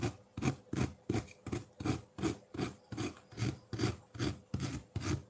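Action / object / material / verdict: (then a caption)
scrape / ice block scraped with a metal fork / ice / none. A metal fork scrapes a solid block of colored ice sitting in a ceramic bowl, raising frosty shavings. Fifteen steady, rhythmic rasping strokes each carry a dull low body with a gritty, bright hiss on top, and each stroke stops abruptly.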